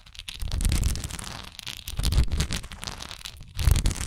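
Long nails scratch and tap the textured sides of a solid wax pillar candle held upright in both hands. The result is a dense, crackly scratching with a bright, hissy edge over soft, dull low thumps, coming in uneven bursts. The loudest burst comes near the end.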